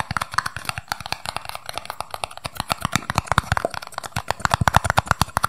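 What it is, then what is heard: Empty paper cup. A small, empty, hollow red and white paper cup is turned in the hands while its base and sides are tapped quickly with fingertips and nails. Around 38 rapid, dry taps each give a short hollow thump with a crisp click on top, stopping almost at once with no ring. The taps form a fast, uneven rhythm of light and heavier hits.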